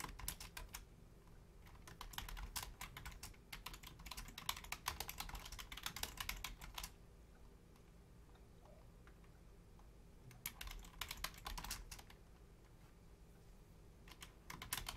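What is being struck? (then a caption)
Plastic computer keyboard keys. Long painted nails and fingertips type on a full-size black plastic Logitech keyboard with low-profile keys, making quick, bright, uneven clicks and tapping over a low hum. A long run of typing stops at about 7 seconds, leaving only the quiet hum. Another burst comes around 10 to 12 seconds, and a few taps close the clip.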